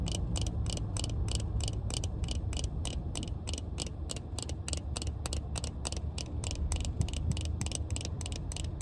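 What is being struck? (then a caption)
Plastic sunglasses frame. Long red nails tap quickly and steadily on the frame of black plastic-frame sunglasses held in the hand, making short, bright clicks. A constant low rumble runs underneath the whole time.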